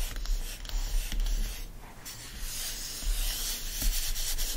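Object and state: Hardcover book endpaper being scratched.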